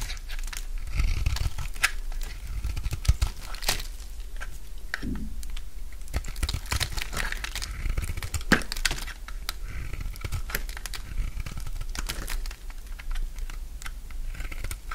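A solid bar of dry pink soap held in the palm is shaved into curls with a utility knife blade. Dense, crisp scraping and crunching cuts follow one another in quick bursts over a low background rumble. The texture stays bright and brittle throughout.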